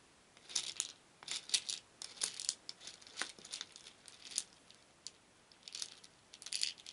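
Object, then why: Small wooden beads in a wooden bowl. Many small painted wooden beads in a shallow wooden bowl are stirred with a wooden spoon, clattering against each other and the bowl. Irregular bursts of bright, dry clicks and rattles come and go, with short quiet gaps between them. The sound has no low end and almost no ring.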